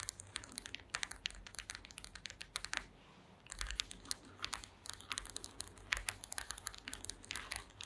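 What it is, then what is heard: Woven wooden slat mat. Long green acrylic nails tap rapidly across the slats of a woven wooden slat mat, making a dense stream of short, dry, bright clicks. The tapping pauses briefly near the middle, then resumes in quick, uneven bursts.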